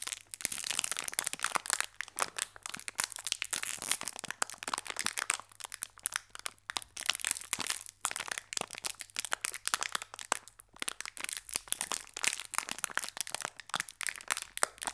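A small green metallized foil-plastic Gullón biscuit pack, still full of biscuits, is held at both ends by fingertips with short painted nails and squeezed and crinkled above a second pack lying still on the table below. Dense, bright crackles and crunchy crinkles come in rapid, overlapping bursts with almost no low end and no ring after each snap.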